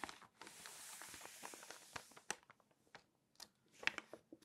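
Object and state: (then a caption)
Glossy paper magazine pages. Long nails scratch across the printed pages of an open glossy paper magazine in a steady, bright, papery rasp, then tap the pages in short, crisp ticks before turning a page. The sound is quiet and mostly high-pitched, with almost no low end.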